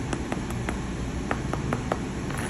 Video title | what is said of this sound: Is Store-Bought Granola Hurting Your Health? Make This Instead | run the fork. Hear the crunchy crisp sound.